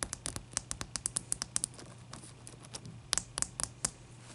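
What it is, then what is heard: Large ice cube tapped with nails. Long nail tips tap a large, clear, solid ice cube resting on a towel, making about 21 sharp, bright clicks in quick, uneven bursts. Each tap dies away almost instantly, with a quieter, sparser stretch in the middle before the tapping picks up again over a faint low hum.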